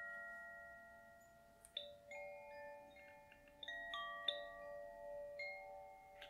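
A small hollow bamboo koshi wind chime, with metal rods inside and a hanging wooden clapper, is held up by its string in one hand and gently swung and shaken while singing bowls sit idle below. The rods inside are struck softly several times, giving bright, high strikes. Their clear, overlapping tones ring and sustain into a shimmering, quiet wash.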